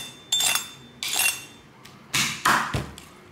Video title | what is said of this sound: LÀM THỊT QUAY GIÒN BÌ BẤT BẠI | Todos podem ouvir seu som crocante?